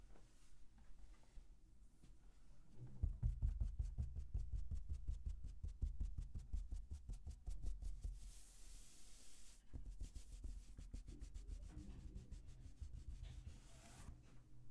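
Both hands with short fingertips scratch and rub a flat grey, padded cotton fabric ironing board cover stretched taut over the board, with no iron present. Quick, uneven scratching strokes produce soft low thuds and dull rubbing, broken by bursts of bright, hissy friction near the middle and end.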